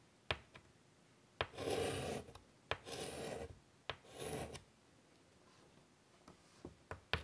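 A hand draws with chalk on a large, flat black chalkboard in a light wood frame lying on a table. Three long, bright, rasping scratches sweep across the board surface, with short, sharp chalk taps between and after them. The room is otherwise quiet.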